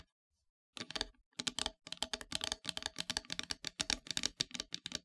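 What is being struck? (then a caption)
Painted wooden plaque tapped with long nails. Long, pointed metallic nails tap and scratch a flat, solid, dark painted wooden heart-shaped board. After a brief silence, a rapid run of about two dozen crisp, bright clicks follows, with very little low end. Each tap is dry and stops almost instantly, with no ring.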